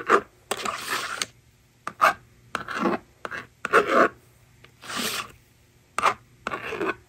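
A yellow plastic stylus scratches numbers onto the honeycomb screen of a plastic magnetic drawing board resting on a table. Short, dry scratching strokes come in separate bursts with pauses between them, some quick and sharp, others longer and brighter, with a faint low hum underneath.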